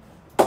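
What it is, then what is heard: Willow cricket bat with good ping. A cricket ball is bounced off the face of a Spartan willow cricket bat during a ping test. After near silence, one sharp knock with a short tonal ring around 770 Hz sounds and quickly fades. The bat has a good ping and strong punch, sending the ball flying up close to the ceiling.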